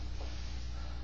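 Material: Nothing is struck.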